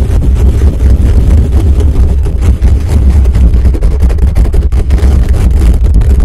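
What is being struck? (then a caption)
Metal mesh microphone grille. Fingertips and nails scratch and rub fast and aggressively across the top of a black condenser microphone's hollow metal mesh grille. The result is a loud, continuous, boomy rumble of dense scratching, heavy in the low bass, with almost nothing bright above it.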